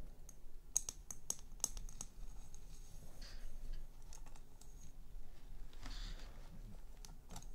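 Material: Glass.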